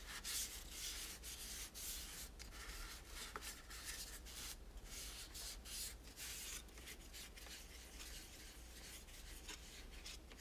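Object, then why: Plastic toy tower. A large, hollow, multi-part plastic toy tower with teal spirals and pink pieces is held in the hand and wiped with a microfiber cloth using the fingertips. The sound is a quiet, continuous, bright swishing rub in irregular strokes, over a steady low hum.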